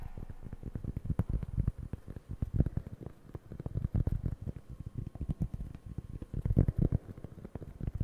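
Fingertips scratch and tap the surface of a round, flat, solid cork board held in both hands. The result is a dense, irregular patter of soft, dull, low thumps and scratches that stop instantly with no ring. It swells louder in a few brief bursts.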